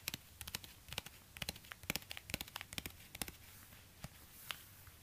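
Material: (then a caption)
Suede. Fingertips in orange rubber gloves scratch and tap a hollow, empty black suede high-heel ankle boot, working over the suede and the edge of the sole. About twenty short, dry, bright clicks and scrapes come at an irregular pace, quiet overall with a faint scratchy hiss between them.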